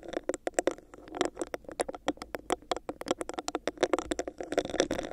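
Long nails scratch and tap fast on the bumps of a hollow, clear, textured plastic cup held over the mic. Around thirty quick, dry clicks and scrapes follow one another, with a hollow midrange body near 540 Hz and brief bright ticks. Each sound dies away almost at once.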